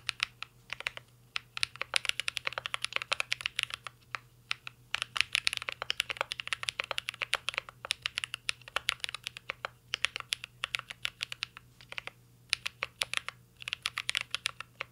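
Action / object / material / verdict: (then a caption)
tap / mechanical keyboard with metal case and plastic keycaps / metal, plastic / none. Fingertips of both hands type continuously on a mint green Cyberboard R3 mechanical keyboard with a metal case and plastic keycaps. A dense, uneven stream of crisp, bright key clacks fills the clip, each stroke very short and dry, with brief pauses between bursts. A faint steady low hum sits underneath.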